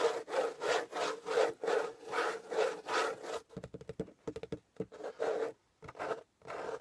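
Fingernails scratch the top and edge of a closed corrugated cardboard shipping box, making a steady run of dry, raspy back-and-forth strokes with a papery midrange tone. About halfway through, the strokes turn into shorter, quicker, irregular scratches with brief silent gaps between them.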